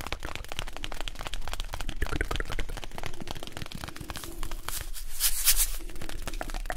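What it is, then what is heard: Cardboard box. A small, hollow printed cardboard box is held in the hands while fingertips and nails scratch and rub its printed and blue sides. The result is a dense, continuous run of dry, crackly scratching and rubbing with a low rumble underneath. Brighter, rasping bursts come near the end.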